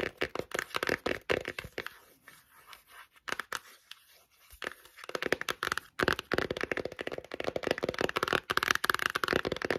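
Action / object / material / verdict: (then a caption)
tap / cardboard eyeshadow palette / cardboard / none. Long nails tap and scratch the cover and edges of a closed, dark, glossy cardboard eyeshadow palette held upright. The result is rapid, crisp, dry clicks mixed with bright, papery scratching, with no ring. A quieter, softer scratching stretch in the middle gives way to dense, fast tapping toward the end.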